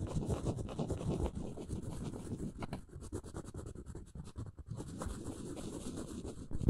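Long nails lightly scratch and tap a round, flat engraved wooden coaster. The sound is a quiet, dry, continuous scratching with soft taps, mostly low in tone with a faint high hiss. Each touch dies away almost at once.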